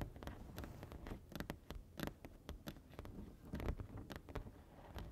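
Two hands with long nails tap on the white area of a large, flat printed foam board sign, making quick, light clicks over a low, steady hum. Many short taps follow one another irregularly throughout, each dying away almost at once.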